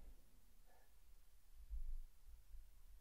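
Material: Nothing is struck.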